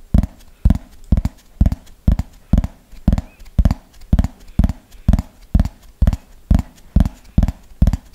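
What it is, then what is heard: Plastic frisbee tapped with fingernails. Fingernails tap the top surface of a thin, hollow yellow plastic frisbee held upright in a slow, steady rhythm. Each tap is a short, dry knock with a deep, low body and almost no ring, and quieter taps fall between the louder ones.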